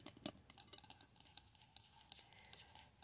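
Long acrylic nails tap and scratch the dark metal lid of a medium pink three-wick glass candle jar filled with solid wax. The result is a quiet, bright series of sharp clicks and taps with thin scratchy sounds in between. Each tap dies away almost instantly.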